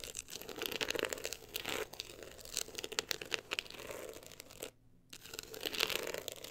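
Long acrylic nails scratch rapidly across the woven-look embossed cover of a solid, closed book lying on fur. The result is a dense, bright, crinkly scratching texture with quick dry strokes and almost no low end. It pauses briefly near the end, then resumes.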